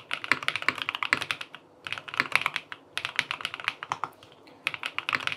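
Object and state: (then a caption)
Aluminium mechanical keyboard being typed on. Fingertips type on a QK80 tenkeyless mechanical keyboard with an aluminum case, cream and peach plastic keycaps and linear switches, resting on a desk. Rapid runs of short, crisp, bright key clacks centered around 2.3 kHz are broken by brief pauses. Each tap dies away almost instantly with no low thud.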